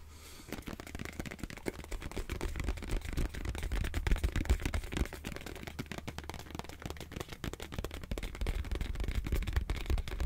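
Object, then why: Plastic squeeze tube. A hand-sized, hollow white plastic face-wash tube is tapped with fingernails in a fast, uneven patter of short, dull clicks. The taps start after a brief quiet moment and continue steadily for about ten seconds, each dying away almost instantly with a heavy low thump beneath the clicks.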